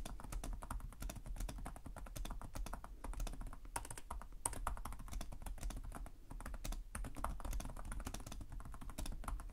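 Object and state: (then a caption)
Plastic laptop keyboard. Fingertips from both hands type continuously on a black laptop's plastic chiclet keys, producing a rapid, steady stream of short, dry clicky taps. Each tap is crisp and brief with no ring, over a low, soft background hum.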